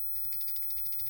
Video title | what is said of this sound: Spring time bass bait's | just got more rattles in it maybe y'all hear that